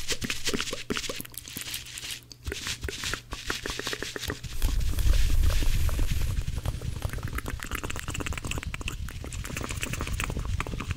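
Two blue, dry cellulose kitchen sponges, stacked, are squeezed and rubbed between both hands. The result is a dense, fast run of crackly, scratchy rustles over a heavy low rumble, growing louder and thicker about halfway through.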